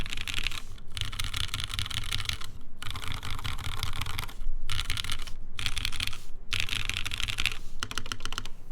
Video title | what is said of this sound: gaff.60 hhkb Build Stream | The modifiers sound kind of hollow.